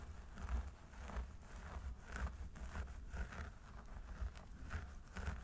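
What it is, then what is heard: Synthetic hair on a mannequin head being scratched. Both hands' fingertips scratch and rub the crown of a mannequin training head through its long blonde synthetic hair, in a dandruff-removal style. The result is a steady, quiet scratchy rustle with repeated brief swells, all over a constant low rumble.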